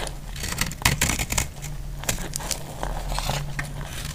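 A solid, dry white soap bar held in the hand is shaved and cut with a metal utility knife blade, its flakes falling onto a pile of soap shavings. Crisp, bright scraping and crackling cuts come in quick, dry bursts with almost no ring, over a steady low hum.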